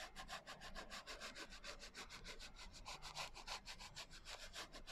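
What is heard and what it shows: Fingers rub and nails scratch the coarse glitter cover of a small, closed hardcover journal, which is turned sideways partway through. The result is a rapid, steady run of bright, gritty scratching strokes over a low rumble.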